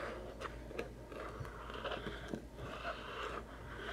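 A small, hollow white cardboard macaron box with a lid, holding bottle caps, is tapped and scratched with fingertips and nails. Soft, dull taps sit over a steady papery scratching, with brief crisp clicks now and then. The overall sound is quiet and muffled.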